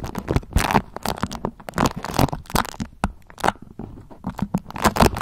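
A thin, pale yellow beeswax-coated cotton food wrap is gathered in the hands while long nails crinkle, fold and scratch along its waxy folds. The result is a rapid run of dry, crackling crinkles and scratchy bursts, some bright and others softer and duller, separated by brief quiet gaps.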